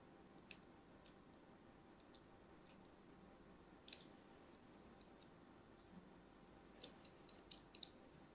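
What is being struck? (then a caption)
Solid soap bar and thin metal blade. A thin metal blade scratches lines into an orange and white striped solid soap bar held in the hand. Quiet, sparse, sharp bright clicks and scrapes sound over a low steady hiss, each dying away almost instantly. The scratches come in a quicker cluster near the end.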